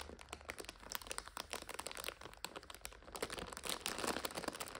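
Long nails tap, scratch and crinkle the clear plastic overwrap of a full purple instant noodle 5-pack. A dense stream of bright, crackly crinkles and quick clicks keeps going with no pauses, growing louder and busier in the second half.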